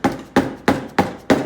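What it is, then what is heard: Engine sump pan gasket seal breaking loose. A rubber hammer taps a tab on the metal sump pan of a Briggs and Stratton V-twin engine to break the old gasket seal loose. Five evenly spaced, dull knocks sound, each with a short low-mid ring around 277 Hz that fades quickly. The seal begins opening up.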